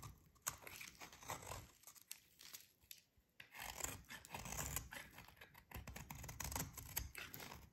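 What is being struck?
Bar of soap shaved with a metal blade.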